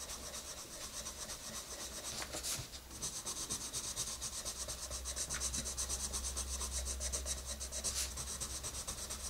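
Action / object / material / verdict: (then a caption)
scrape / wooden colored pencil on a paper coloring book page / paper / none. A green wooden colored pencil is rubbed vigorously back and forth on an open paper coloring book page lying on a table, shading the rabbit's nose area. The sound is a continuous, bright, scratchy rub with rhythmic strokes over a faint steady low hum.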